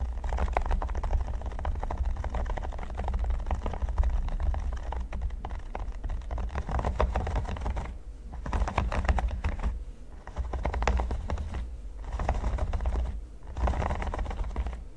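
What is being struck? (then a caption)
Silicone pyramid mat. Fingertips and nails tap fast on a flat, solid red silicone pyramid mat, with the right hand coming close to the microphone. The result is a dense, continuous patter of short, dry clicks over a steady low hum, with a few brief pauses near the end.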